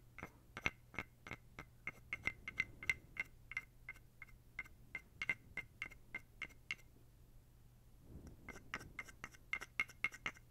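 A small dark carved wooden toad, held close to the mic, is scraped and tapped along its ridged back with fingers and a wooden stick. The result is a rapid series of short, dry, bright clicks that ring around 2 kHz, with a brief quiet pause near the eighth second before the clicking resumes over a faint low hum.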